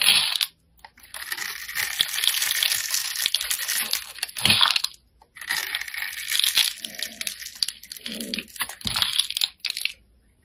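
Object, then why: Bar of soap scraped with a metal blade. A hand-sized solid bar of soap with a green scored outer layer and a white interior is held in the fingers and scraped and carved with a metal blade, shaving off curls and flakes until the outer layer is removed. Bright, crisp scraping and crunching strokes come in long bursts, separated by brief silent pauses.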